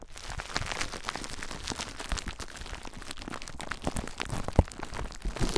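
Fingertips squeeze clear plastic bubble wrap wrapped around a recorder, then press and scratch the bubbles, making a dense, steady crinkling and crackling. Soft low thumps sit under bright rustle, with one sharper pop standing out near the end.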